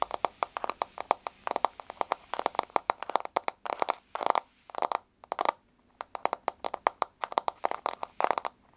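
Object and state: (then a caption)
Fingernails tapping a wooden floor. Long blue-painted fingernails on both hands rapidly tap a flat, solid wood-grain floor, close up. Dozens of quick, dry clicks come in dense bursts with brief pauses between them, centred around 900 Hz with a faint bright edge. Each tap dies almost instantly, leaving no ring.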